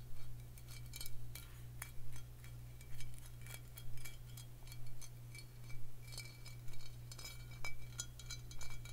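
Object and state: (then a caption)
Glass bottle. A glass bottle is tapped for ASMR, giving quick, bright clinks that come in short clusters at a fairly steady pace, roughly one per second. Each tap dies away fast, and a steady low hum runs underneath the whole time.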